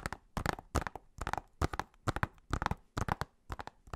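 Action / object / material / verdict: tap / plastic disc case / plastic / none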